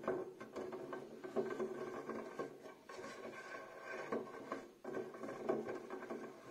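Fingertips and nails rub and scratch along the wires of a small, empty, open black metal wire storage basket with a light wooden handle. The result is a steady, dense, raspy scraping concentrated in the midrange, with brief pauses between three rubbing passes.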